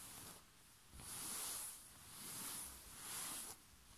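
Short fingernails and fingertips scratch and rub a white rose-print cotton bed sheet laid over a soft surface. Three long, quiet, hissing strokes swell and fade, bright and airy with little low end. The result is a soft, breathy fabric scraping sound.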